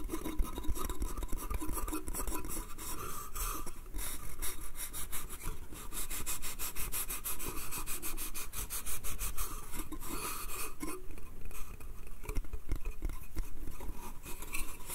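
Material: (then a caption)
Wood. Fingernails tap and scratch the slats of a small, hollow, pine slatted wooden bath crate. The result is a steady run of quick, dry rasping strokes with bright scratchy texture over a low, dull rumble, with short, unringing taps throughout.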